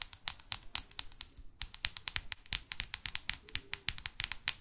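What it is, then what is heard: Paperback book tapped with long nails. Long fake nails tap rapidly on the spine, back cover and front cover of a paperback New York guidebook. The taps are sharp, bright clicks with almost no ring and little low end, coming in a quick, uneven patter with a brief pause partway through.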